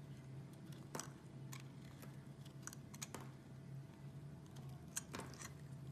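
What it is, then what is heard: Bar soap being shaved. A small metal blade shaves and scrapes thin curls off the edge of a solid white rectangular bar of soap held in the hand. Quiet, dry, crisp scraping ticks and short bright clicks come in irregular bursts over a steady low hum.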